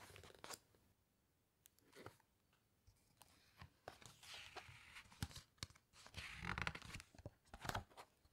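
A flat hand and long nails press and rub the glossy photo pages of a large open hardcover book, and then one page is turned. Soft papery swishes and crinkles mix with sharp nail clicks and taps. The sound builds into brighter, louder crunching rustles near the end.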